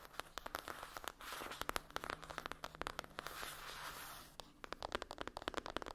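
Long acrylic nails tap and scratch a closed, flat rectangular cardboard eyeshadow palette with a foil-printed lid resting on a fluffy blanket. Quick, dry, clicky taps alternate with stretches of soft, hissing scratching, and the faint sound has a papery midrange tone. Each tap dies away almost instantly.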